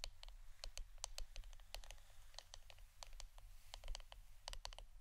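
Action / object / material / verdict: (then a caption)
tap / wooden incense stick holder / wood / none. Fingernails tap the wooden part of an incense stick holder in a quick, irregular series of short, dry, clicky taps. Each tap is bright and dies away almost at once, over a steady low hum.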